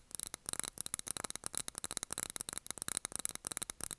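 A small glass jar candle filled with wax and topped with a cork lid is held in both hands and tapped on the glass with fingernails. Rapid, bright, clicky taps come in quick bursts, each dry and sharp with almost no ring and little low end.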